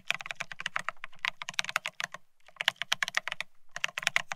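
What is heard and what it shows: Both hands type rapidly with their fingertips on a Bear65 mechanical keyboard fitted with blank white matte ceramic Cerakey keycaps on a steel plate, resting on white cloth. About 27 bright, sharp clacks, each centered near 2.9 kHz with a light low thump beneath, die away almost at once. They come in quick bursts with a brief pause just past the two-second mark.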